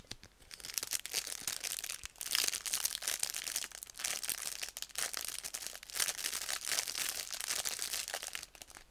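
A small paper sticky note set sealed in crinkly clear plastic is held up, then tapped and scratched with long glossy red nails. The result is a steady run of bright, sharp crinkles and crackles in short overlapping bursts, with almost no low end and no ringing.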